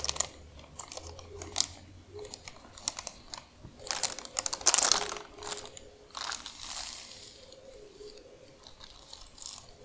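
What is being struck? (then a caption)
Thin plastic wrapper. Long acrylic nails and fingertips scratch, crinkle and press a long, thin, flat, empty, translucent, thick clear plastic wrapper, held and laid on a dark surface. Bright, dry crinkling and scratching come in quick irregular bursts, loudest near the middle, with almost no low end and no ring between crackles.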